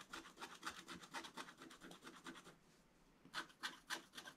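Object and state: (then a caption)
Scratch-art paper page. A wooden stylus scratches fine strokes into the coating of a black scratch-art paper page, making quick, dry, bright rasping scrapes in a steady rhythm. The strokes pause briefly just before the three-second mark, then resume with a few sharper scratches.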